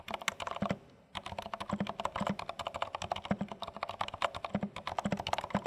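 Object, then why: Plastic mechanical keyboard. Two hands type continuously with their fingertips on a compact, dark plastic HHKB Studio mechanical keyboard with plastic keycaps. The result is a rapid stream of short, crisp clacks with a low thock beneath them. There is a brief pause about a second in before the typing resumes.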